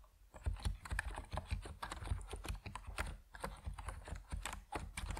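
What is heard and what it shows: Fingertips of both hands type continuously on an Epomaker NiZ Plum Atom 68, a 68-key compact mechanical keyboard with white and purple PBT plastic keycaps resting on a wooden desk. A steady, uneven stream of short, dry keystrokes is heard, each a dull low thud with a brief clack on top, with no ring after each press.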